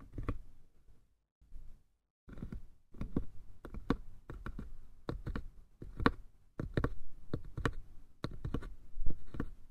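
Fingertips and nails scratch and tap the painted lid on top of a small hollow wooden box. A quiet, uneven series of soft, dull taps with short, low body resonance rises over faint scratching, with a brief pause near the start before the tapping grows busier and slightly louder.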